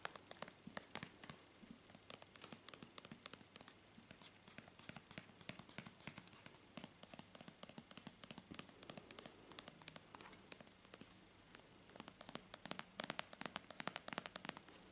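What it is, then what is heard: Plastic cream tube. A filled, soft white-and-green plastic squeeze tube of moisturizing cream is held in the hand and tapped and scratched with long painted fingernails. Quick, dry, bright clicks and scratchy rustles come in a dense, uneven stream at low volume. Each tap stops at once with no ring.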